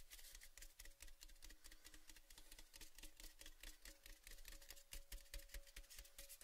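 A palm and fingers rub and scratch along the painted side of an open, empty orange Baileys metal tin, a hollow cylinder held at an angle. Quick, irregular scratchy strokes follow one another with bright, hissy friction, while a faint hollow metallic hum rings underneath.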